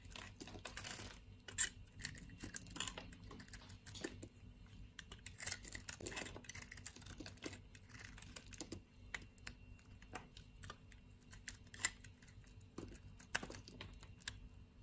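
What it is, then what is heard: Bar soap being shaved. A yellow-handled utility knife blade shaves flakes off a solid brown bar of soap held in the fingers. The result is a quiet, steady run of crisp, bright scraping and crackling bursts that stop dead with no ring, over a low background hum.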